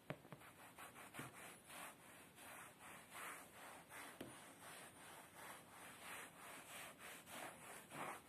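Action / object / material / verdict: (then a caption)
scrape / padded woven fabric chair seat / woven fabric / none. Fingertips and short nails rub and scratch across a beige woven fabric padded chair seat in a steady back-and-forth rhythm. Each stroke makes a soft, bright scratching hiss, and a few sharper ticks stand out along the way. The sound stays quiet and even throughout.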